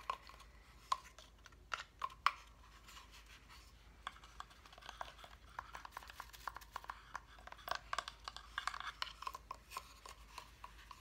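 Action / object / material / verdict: tap / flat cut-out wooden reindeer decoration / light wood / none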